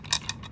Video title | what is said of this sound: Don’t waste your time or money on non-Apple power adapters! | you can hear this one. It's got something loose inside